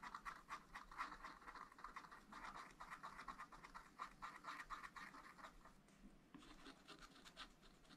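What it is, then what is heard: Wax-coated scratch-art paper being scratched. A wooden stylus scratches blossoms into a thin, flat, black wax-coated scratch-art page in a small spiral-bound pad. Quick, rough scratching strokes repeat at about two per second and sit in the mid range, around 1 to 2 kHz, with a faint bright hiss. The level stays low and varies little between strokes.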